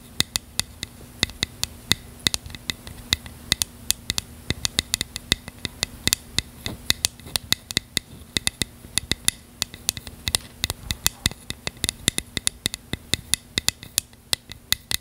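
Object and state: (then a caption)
Plastic container tapped and scratched with fingernails. Long fingernails tap and scratch a small, hollow, translucent purple plastic container in a rapid, uneven stream of sharp, bright clicks. Each click dies away almost instantly, with soft scratching in between and a faint steady low hum underneath.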